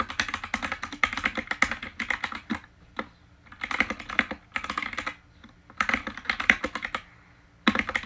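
Fingertips type and tap on the white plastic keycaps of an RGB-lit mechanical keyboard, heard close up. Rapid bursts of crisp, bright clacking keystrokes centered around 2 kHz alternate with brief quiet pauses, each key strike short and dry with almost no ring.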